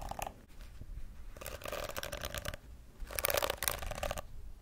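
Long acrylic nails scratch across the rows of flexible plastic bristles on a pink plastic detangling brush held close to the microphone. Bursts of crackly, bright scratching come in three main passes, with quieter gaps between them.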